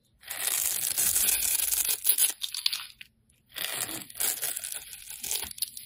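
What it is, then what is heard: Soap bar being scraped. A metal utility-knife blade scrapes and cuts a solid, rounded, hand-sized pink soap bar held in the hand, shaving off crumbly pieces. The result is a bright, dry, crackling scrape in two passes, with a brief silence between them.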